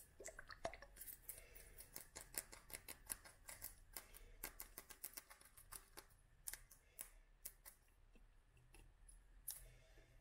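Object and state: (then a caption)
Glass dropper bottle tapped with fingernails. Long nails tap on a small clear glass dropper bottle full of oil and dried flowers. The result is a quiet, irregular run of quick, bright clicks with almost no ring, over a faint low rumble.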